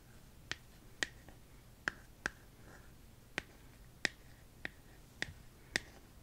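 Long acrylic nails tap the back of a smartphone held up in one hand in a hard plastic case with a colorful flower print. Nine sharp, short clicks with a bright edge ring out at uneven intervals over a quiet background hiss, each dying away almost instantly.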